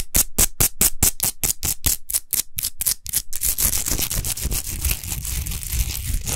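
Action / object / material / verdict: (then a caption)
scrape / rock salt lamp / rock salt / none. Long nails scratch fast across a tall, rough-textured, unlit Himalayan rock salt lamp of solid salt. For about three seconds there are quick, evenly spaced, bright scraping strokes, each with a low thump. They then blur into a dense, continuous gritty rasp.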